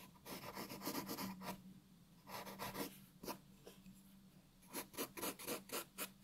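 A graphite pencil shades a white paper sheet resting on a wooden table, making rasping, scratchy strokes with a bright, papery texture. The strokes come in quick bursts separated by quieter pauses, over a faint steady low hum.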